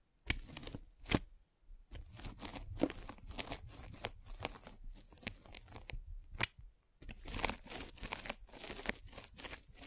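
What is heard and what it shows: A metal-spiked derma roller is rolled across the top of a white polyethylene foam net sleeve stretched over a microphone. It makes dense, crunchy scratching and crinkling in rapid bursts, with brief pauses near 1.5 and 6.8 seconds.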